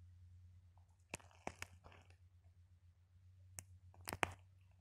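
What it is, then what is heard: Sequin-covered plastic ball. Long painted acrylic nails scratch and tap a small ball covered in pinned-on red plastic sequins, with loose sequins scattered around it. Six sharp, bright clicks stand out against soft crunchy scratching and a low steady hum. Each tap stops almost at once, and the whole clip stays quiet.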